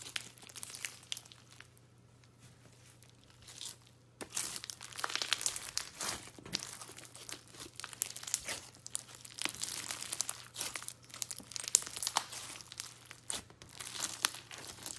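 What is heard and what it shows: A large, soft lump of light blue foam bead slime (floam) is kneaded, squeezed and pressed with fingers and palm. Dense, bright crackling and crunching pops rise in bursts, with a quieter stretch near the start, over a faint steady low hum.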